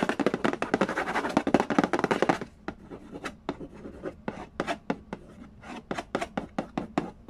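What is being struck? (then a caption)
Cardboard board game box lid. Fingertips tap and nails scratch the lid of a hollow cardboard Candy Land board game box. The first two and a half seconds are a dense, loud flurry of quick scratches and taps, followed by sparser, quieter, sharply clicking taps with a dry, short decay.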